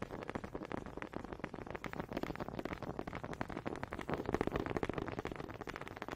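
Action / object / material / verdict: tap / wooden honey dipper / wood / none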